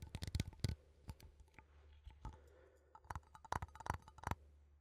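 A small cylindrical metal coffee tin, held in both hands, is tapped with fingertips and nails on its side and rim. Quick, irregular clicky taps come in clusters, each a dry tick over a low, hollow thump with a faint brief metallic ring. The taps cut off almost instantly, leaving quiet gaps between the bursts.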